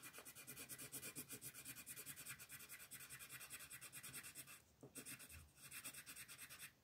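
A green colored pencil shades a flat paper coloring sheet lying on a table in steady back-and-forth strokes, while the other hand, with long nails, holds the sheet. The result is a soft, bright, scratchy rubbing rasp that pulses rhythmically with each stroke, with brief pauses near the end.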